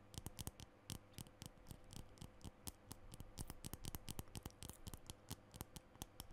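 Fingernails tap and click on a small green plastic lipstick tube held at chest height. It makes a quick, irregular run of short, dry clicks with bright tops, each dying away almost at once over a quiet, steady low hum.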